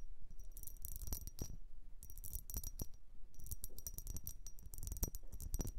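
Long nails tap and scratch the ribbed sides of a tall, hollow, dark blue glass vase that appears empty. Bursts of quick, bright clicks and scraping come in several clusters, with a thin high glassy tone and a faint low rumble underneath.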